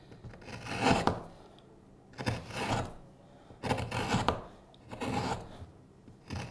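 A steel hook knife hollows the bowl of a solid light wood spoon blank pressed on a cutting mat, using short scraping cuts. Each cut is a dry, rasping scrape with broadband texture and a soft low thump, recurring in irregular bursts separated by quiet pauses.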